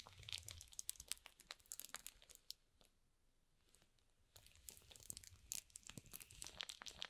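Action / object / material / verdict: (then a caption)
scrape / cardboard box in plastic shrink wrap / plastic film / none. Flat fingers rub and stroke the plastic shrink-wrap film on top of a small, hollow cardboard box. The result is bright, crinkly crackles with sharp snaps and little low end. The crackling goes quiet for about a second and a half in the middle, then resumes just as busily.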